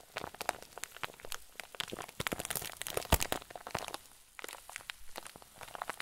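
Fingers squeeze and crinkle a medium-size clear zip plastic bag packed with white fluffy filler. Dense, bright crinkling and crackling pops continue throughout, with a sharper, louder crack a little past the midpoint. There is a brief quieter lull before the crinkling picks back up.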